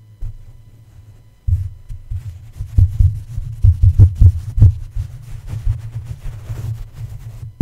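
A plush toy's feet and paw tap and rub against the hollow black metal mesh grille of a red condenser microphone. This produces soft, muffled, deep thumps in an irregular, heartbeat-like rhythm, with faint brushing scratches between them.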